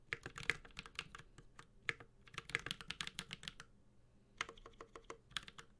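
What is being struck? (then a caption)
Mechanical keyboard, metal case with plastic keycaps. Fingertips of both hands type steadily on a Space65 Cybervoyager, a 65% mechanical keyboard with a white-gold aluminum case, plastic keycaps, a carbon fiber plate and tactile Holy Panda switches. About 27 short, bright clacks with a light low thock come in quick bursts, with a brief pause midway, and each stroke dies away almost at once.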